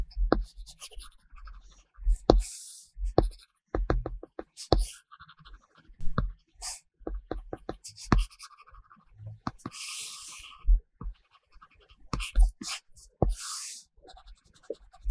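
A pink-cased Apple Pencil tip draws continuous strokes across a flat iPad glass screen fitted with a matte paper-texture film. The result is close, dry scratching interspersed with bright tapping ticks, with soft low thuds underneath.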